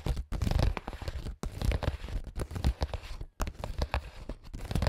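AA battery tips worn on the fingers tap rapidly on a clear, translucent printed plastic makeup pouch holding small items. The result is a dense stream of crinkly, crunchy taps and rustles with a heavy low thud, broken by brief pauses.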